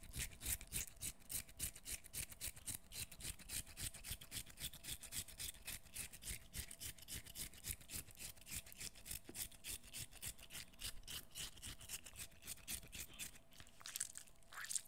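A short, peeled piece of cucumber, solid and wet, is held in both hands while fingernails scrape and squeeze its flesh. The result is a steady run of quick, bright, wet scratching strokes, about three to four per second, with soft low thuds underneath. A sharper squeak comes near the end.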